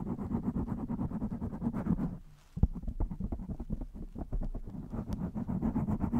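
Long nails on both hands scratch fast over the top and sides of a blue foam windscreen on a black microphone. It makes a dense, low, rumbling scratch with rapid crackling strokes. The sound drops to near silence for a moment, returns with a sharp thump, then resumes steady scratching.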